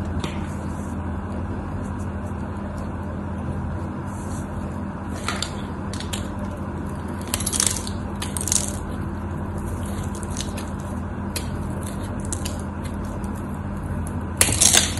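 A solid white cream soap bar held in the hand has its surface cut and scraped with a craft knife. Short, bright, crisp crunching scrapes come in bursts, loudest near the end, over a steady low hum.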